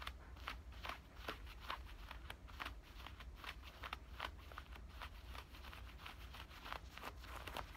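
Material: Denim.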